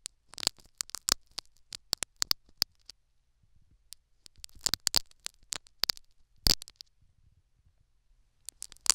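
A metal syringe needle pokes and scratches the foam plug inside a silicone dummy ear microphone. Bursts of sharp, bright crackling scratches come in clusters, with faint soft rustling between them.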